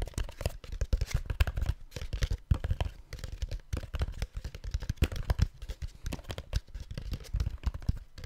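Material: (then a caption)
Plastic. A hollow white plastic supplement bottle with an orange label is held in one hand and tapped rapidly with the fingertips of the other hand. The result is a dense, continuous patter of short, dull, low-pitched hollow thuds that die away almost instantly, with little high-end brightness.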